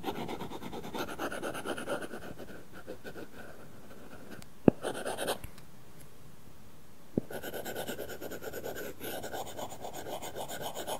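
A plastic stylus tip rubs and scratches back and forth across an iPad glass screen fitted with a matte, paper-feel plastic protector film while coloring. Dense, papery scratching strokes fill the clip, quieting to a faint hiss in the middle. Two sharp taps stand out near 4.7 and 7.2 seconds.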